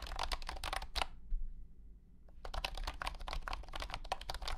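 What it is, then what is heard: Plastic wireless keyboard being typed on. Fingertips type on a compact white and blue plastic wireless keyboard with round hexagonal honeycomb keycaps and a hollow body. A rapid run of short, bright plastic clicks breaks for about a second of near-silence, then resumes. A steady low hum sits beneath the clatter throughout.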